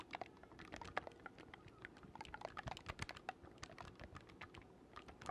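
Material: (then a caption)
Wood, metal. Fingertips rapidly click the silver metal keys against the body of an assembled, hollow black wooden oboe, about 60 cm long, held across the microphone. The result is a quiet, dense stream of dry, irregular taps and clicks with a faint hollow tone near 750 Hz and bright edges, each dying away almost instantly.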